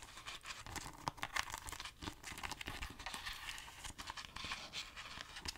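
Long nails tap and scratch the front cover of a hollow, hard plastic DVD-style Grand Theft Auto III PlayStation 2 game case held in the hand. The result is a quiet, continuous stream of crisp clicks and crinkly scratching, bright and dry with little low end.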